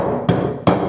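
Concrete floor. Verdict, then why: Hollow. Two dull taps on a bathroom's concrete floor give a hollow, low thud, revealing a hollow, cracked floor in very poor condition that is going to be dug up.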